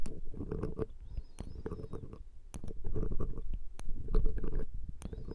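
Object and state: Metal microphone grille scratched and poked.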